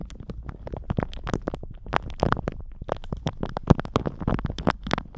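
A thin plastic shower cap stretched over a microphone is squeezed and crinkled with the fingertips of both hands. The result is a dense, continuous run of short crackling bursts with a heavy low rumble beneath them, and a few sharper snaps rising above the rest.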